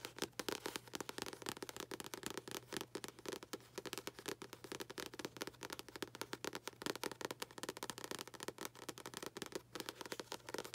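Long acrylic nails tap and scratch the front paper cover of a paperback book held upright. Rapid, crisp clicks are mixed with dry, papery scratching in a quiet, busy, uneven rhythm. Each tap dies away almost at once, with bright crackling texture and little low end.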